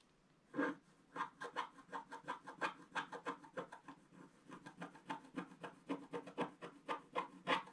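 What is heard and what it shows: A wooden stick scratches the black wax coating in the lower water area of a flat scratch-art picture card, a thin solid sheet lying on a table. About 29 short, dry scraping strokes follow one another in a steady rhythm, each a raspy burst centered in the midrange around 900 Hz with a faint bright edge.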